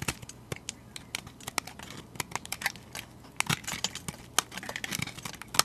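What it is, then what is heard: Translucent soap bar being shaved. A metal utility blade shaves curls off a solid translucent cream soap bar held in the hand. Quick, crisp scrapes and crackly clicks follow one another in an irregular stream, bright and dry with almost no ring, over a faint low hum.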